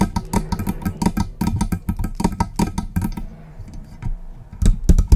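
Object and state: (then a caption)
Metal condenser microphone body. Long pink press-on nails tap and scratch the hollow metal body and stand yoke of a silver Blue Yeti-style USB condenser microphone on its stand. Rapid, dense taps land as deep, boomy thuds with short bright clicks on top. The tapping eases into softer scratching near the middle, then ends with a few louder knocks.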